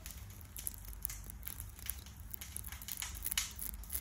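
A hand-sized dark red and black glass perfume bottle with an ornate gold metal floral decoration and cap is held in one hand and tapped quickly with the long fingernails of the other. The result is a fast, irregular stream of crisp, bright clicks and ticks that die away almost at once, over a steady low rumble.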